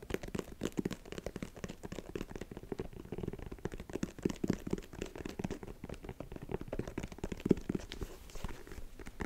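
Fingertips and nails scratch and tap across the tread of the solid, textured cream rubber outsole of a single empty high-top sneaker in Air Jordan style, held in both hands. A dense, quiet patter of short, dull scrapes and taps runs steadily throughout, with muffled low-mid body and very little high content.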